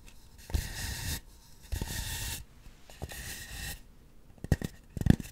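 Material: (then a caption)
Polystyrene foam. Long acrylic nails scratch and tap a large white polystyrene foam sphere used as a microphone cover, working from both sides. Three bursts of dry, hissy scratching with a faint hum between them give way to sharp, quick taps at the end.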